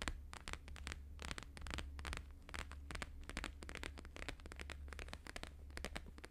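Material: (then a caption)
Laminated paper. A flat, thin, flexible square sheet of plastic-laminated holographic paper lying on a fur rug is tapped rapidly with the fingertips and nails of both hands. Dense, crisp clicks crackle across a bright high range in overlapping bursts over a steady low hum.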